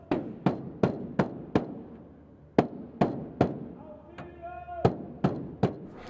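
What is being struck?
Aluminum semi-trailer cargo box wall.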